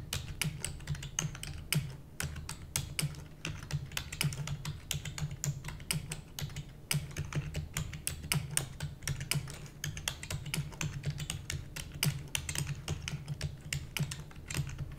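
Rapid typing with long nails on a black plastic computer keyboard produces a dense, continuous stream of sharp, bright clicks and taps. A steady low hum runs underneath the clatter throughout.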